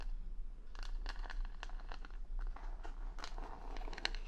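Long nails scratch and tap the plastic rhinestone stickers covering a wooden paddle hair brush held against the mic. It sounds like quiet, bright, crinkly scratching with sharp little clicks over a steady low hum.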